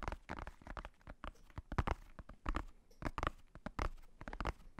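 Fingertips tap the black faux-leather cover of a hardcover notebook held close to the microphone. A quiet, rapid, uneven series of short, dull taps, each with a soft low thump that dies away almost instantly.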